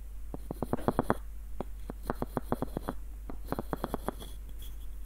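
Fingertips and short nails tap the hollow body of a small light-wood screw nutcracker and scratch its ribbed screw threads below a dark wooden knob. The result is clusters of short, dry, hollow wooden taps and clicks, separated by brief pauses. They sit over a steady low hum and faint bright hiss.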